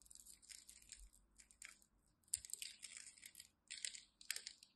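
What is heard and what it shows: A small craft knife blade scores and scratches a grid into a dry, solid rectangular bar of pink and white striped soap held in the fingers of one hand with long pastel nails, chipping off small cubes. The sound is a quiet run of dry, bright, crisp scraping and crackling bursts with short gaps, each snap dying away almost instantly and with very little low end.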